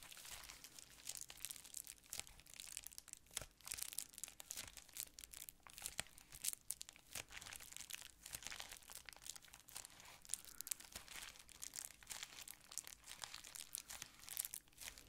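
A folded sheet of clear plastic bubble wrap is scratched with nails and squeezed. It makes a steady, dense crinkling and crackling full of sharp, bright clicks that stop quickly, with very little low end. The level stays fairly even throughout.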